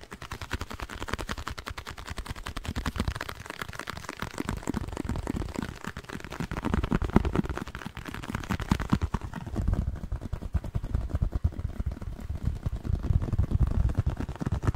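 Fingernails rapidly tap a small, hollow, printed blue cardboard box held in the hands, making a dense stream of dry, muffled thumps with very little brightness. Toward the end the box is brought close to the microphone, and the taps grow deeper and boomier, with a heavier low-end thud.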